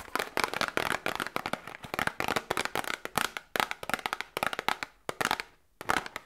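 A small printed cardboard medicine box, held in both hands, is tapped rapidly with long nails and fingertips. The result is a busy run of quick, dry, crisp clicks and taps with a papery midrange and bright edges, almost no low end, and no ringing after each hit. The tapping pauses briefly near the end, then resumes.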